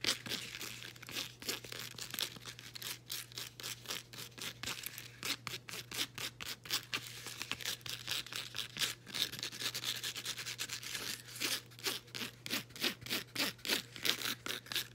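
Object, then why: Woven elastic fabric band. Long acrylic nails scratch a folded, soft, layered blue woven elastic fabric resistance band. The result is a steady run of quick, bright, rasping scrapes that sound like tearing, each dying away almost at once, over a faint low hum.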